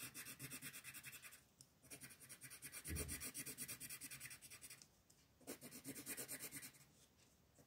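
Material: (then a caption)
Paper. A green colored pencil rubs and scratches across a flat paper coloring sheet on a table in steady shading strokes, while a hand with long nails holds the sheet. Bursts of quick back-and-forth strokes make a dry, bright, raspy scratching, separated by short quiet pauses where the pencil lifts.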